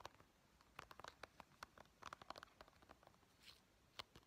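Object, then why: Small hollow plastic game case. A small, hollow white plastic Nintendo 3DS game case for Pokemon Sun is held in the hands while painted fingernails quickly tap its cover and edges. The result is about twenty sharp, dry clicks with bright ticking highs and almost no ring, scattered over a quiet background.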